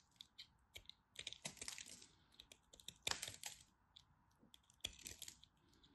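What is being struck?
Bar soap cut and scraped with a blade.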